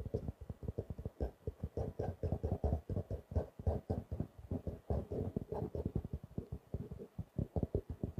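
Fingertips and nails tap the cover of a small blue-grey stitched faux leather notebook held upright. Quick, soft, dull taps come in rapid bursts, with a low thumping body centered around 74 Hz and little high-frequency content.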